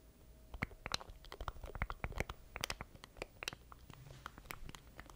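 A small black plastic stream deck controller is held in both hands close to a microphone while fingertips tap and scratch its keys and casing. The result is a quick, uneven run of sharp, dry plastic clicks and taps with bright edges, mixed with soft scratchy rustling over a faint low rumble. Each hit stops almost instantly with no ring.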